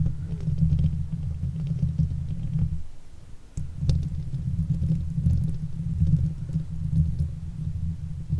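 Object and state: Metal mesh microphone grille.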